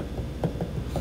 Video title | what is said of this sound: Ceramics I: Pinchbowl exercise part 2 | i'm tapping so i can hear the thickness